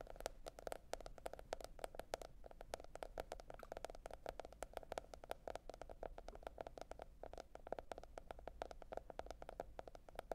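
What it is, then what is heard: Cardboard hardcover notebook, tapped with nails. Long red nail tips tap rapidly and continuously on a teal printed cardboard hardcover notebook lying flat. The taps are short, dry clicks with a hollow midrange tone that stop instantly without ringing, over a faint low steady hum throughout.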